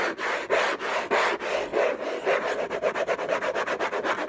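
Fingertips and nails scratch back and forth across the hollow lid of an orange Hermès cardboard gift box in about eighteen quick, uneven strokes that speed up toward the end. Each stroke makes a dry, raspy rub with a hollow midrange tone around 580 Hz, some brightness but almost no low end.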